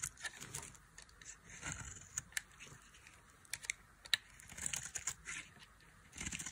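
A knife with a black handle carves and scrapes a solid, palm-sized bar of dry beige soap held in one hand, peeling off thin curls over a pile of shavings. The dry, crisp scraping and cutting comes as a run of short bright strokes and sharp ticks, mostly high in pitch with very little low end.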